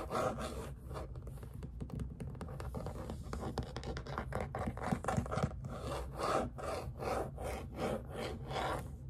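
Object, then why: Primed canvas stretched on a wooden frame. Fingernails scratch and rub across the surface of a white primed artist canvas, about letter size, stretched on a frame and tilted against a table. A steady run of soft, irregular scratching strokes follows, dry and papery with a low, drum-like thump from the taut canvas underneath.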